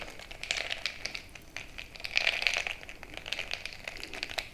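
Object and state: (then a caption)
Glass jar mug of crushed ice. A bamboo stick is jabbed up and down into a frosted glass mason-jar mug full of crushed ice. It makes dense, bright crunching and sharp clicks against the glass, with short high ticks that die away quickly. The jabbing grows louder in bursts around the middle of the clip.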